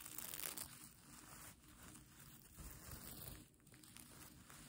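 Fingers and nails scratch and brush back and forth across a plastic sequin mermaid tail blanket with a pink fleece backing. The result is a quiet, continuous, bright crinkling and rustling texture that swells and fades with each stroke, with a low, soft rumble underneath.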